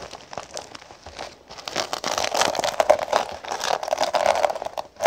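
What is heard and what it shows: Long pink fingernails tap and rub across a flat cosmetic pouch covered in small gold sequins with a black sequin logo patch, lying on a wooden table. A dense run of crinkly, crackling taps with a bright, papery rustle builds louder after the first couple of seconds, then ends with a sharp flurry.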